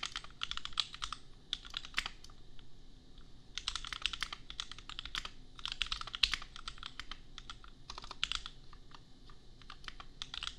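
Bare fingertips type rapid bursts of key presses on a $250 custom compact 65% mechanical keyboard with Gateron Milky Yellow switches, red and pink plastic keycaps and a hollow case, resting on a printed desk mat. Quick, bright clacks come in clusters separated by short pauses, each press dying away almost instantly over a faint low hum.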